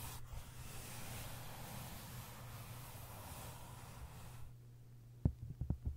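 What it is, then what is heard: Hardcover book with paper jacket. Flat hands rub across the paper jacket of a hardcover book, making a soft, steady, breathy hiss with a low rumble underneath. Long nails then scratch the cover and tap it three times, each tap a sharp, short click.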